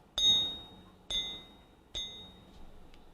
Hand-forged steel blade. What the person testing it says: this has got a nice little sound to it it sounds solid